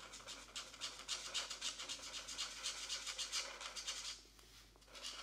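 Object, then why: Felt-tip marker on a paper coloring book page. A felt-tip marker held in the right hand is rubbed back and forth in short strokes over the paper page of an open paperback mandala coloring book, which lies flat on a desk mat while the left hand holds it still. The strokes make a bright, dry, scratchy rasp in a quick, fairly steady rhythm. They pause briefly near the end before resuming.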